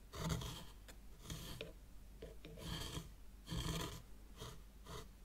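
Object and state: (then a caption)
Fine sand raked in a small tray. A thin white stick, held by fingers with long nails, is dragged and scratched through a shallow layer of fine white sand in a small hexagonal zen garden tray. Repeated soft, raspy scraping strokes swell and fade, with a brighter gritty hiss over a low rumble and short pauses between passes.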